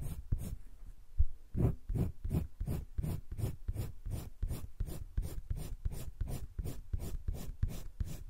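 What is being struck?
Wooden colored pencil on paper sketchbook page.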